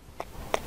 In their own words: Cây nấm này bây giờ đã khô hoàn toàn và khi chúng ta dùng ngón tay gõ vào nó như thế này thì nghe thấy âm thanh như đang gõ vào gỗ.